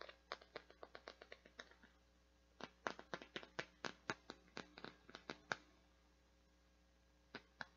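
Long dark nails tap and scratch the surface and petals of a hand-sized, translucent teal plastic or silicone flower-shaped bath scrubby with a white center. The result is a quiet series of short, sharp, dry clicks with a bright edge, coming in uneven bursts separated by brief silent pauses.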